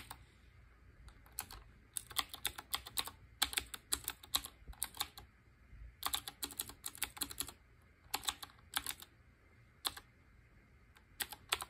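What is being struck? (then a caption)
Typewriter-style mechanical keyboard with round keycaps. Fingertips with short painted nails type rapidly on a black Qwerkywriter BIOHAZARD collaboration typewriter-style mechanical keyboard with round chrome-ringed keycaps. Bright, crisp clicky keystrokes come in quick bursts separated by short pauses, each click dying away almost instantly over a faint low hum.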